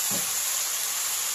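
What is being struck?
Nothing is struck.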